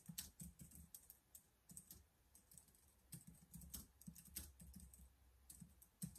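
Rapid fingertip typing on the keys of a black plastic laptop keyboard, heard as a quick, uneven stream of short, soft clicks with low thuds and a bright, crisp tick on each press. The strokes come in bursts with brief pauses and no lingering ring.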